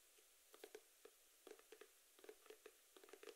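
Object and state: Cardboard box.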